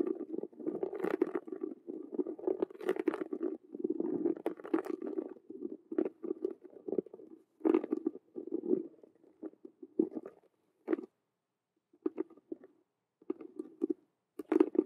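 Long nails scratch and tap fast and hard across the stitched, colored faux-leather/vinyl square patches on the black face of a hollow Rubik's cube handbag. Dense bursts of dry, hollow scratching and tapping sit in a low-mid band with occasional bright edges. The scratching breaks into shorter clusters separated by silent gaps toward the end.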